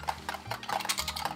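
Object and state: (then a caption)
Metal tin filled with mints. A metal mint tin filled with sugar-free peppermint pastilles is shaken, and the pastilles rattle against the tin in a quick series of light, bright clicks that stop almost at once. This tin sounds different from the others.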